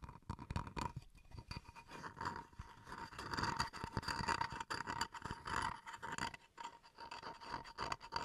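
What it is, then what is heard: Bamboo wood chopping board being scratched. Fingernails scratch the face and edges of a small solid bamboo wood cutting board, making continuous dry rasping and scraping with quick clicky nail taps. The texture is busy and close, with a steady tone near 900 Hz–1 kHz and bright grainy hiss above, swelling and easing as the strokes change.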